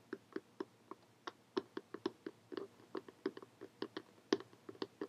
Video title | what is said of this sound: ~*~Tapping you into Tingles ASMR~*~ | sounds a little different when you're tapping on it